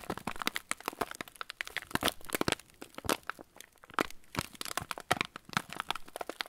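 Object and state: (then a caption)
Plastic-wrapped cracker packet. A full, yellow plastic-film TUC cracker packet is turned in the hands while fingertips squeeze the wrapper. The result is a dense run of sharp, bright crinkles and crackles that keep up unevenly throughout, with each snap dying away almost at once.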